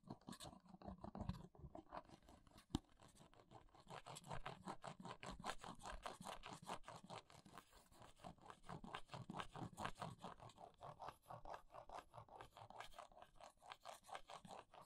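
Long nails scrape and scratch across the front of a small paperboard press-on nail box with a plastic window, held flat. The result is a quiet, dense run of rapid, irregular scratchy strokes with a papery crunch and dry, bright edges.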